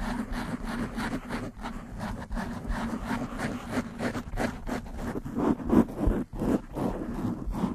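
Long nails quickly scratch and rub the black foam windscreen on a desktop microphone. The result is a dense, continuous scratchy rustle with a strong low-mid body and soft high hiss, running at a fast, uneven rhythm. A few louder rubs stand out near the end.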